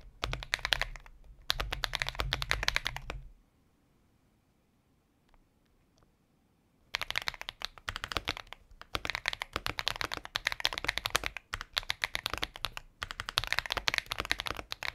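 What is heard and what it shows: A compact mechanical keyboard with a transparent, hollow plastic case and white and pink plastic keycaps sits on a desk mat and is typed on continuously with the fingertips of both hands. Rapid, bright, clacky key taps come in dense bursts, with a quiet pause of about three seconds before the typing resumes.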